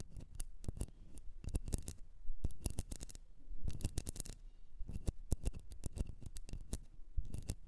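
A blue candle, probably in a container, is tapped and scratched in a rapid, irregular series of short, dry clicks and scrapes. Each stroke stops almost instantly, with a low thud under crisp, bright edges. Brief quiet gaps separate the bursts.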